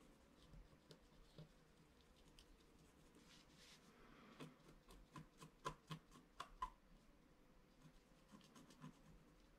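A wooden stylus scratches short strokes into the upper right area of a flat scratch-art card of wax-coated paper, held down by one hand. Quiet, dry scratching comes in brief rasps, with a cluster of sharper, louder strokes in the middle of the clip before it settles back to soft scraping.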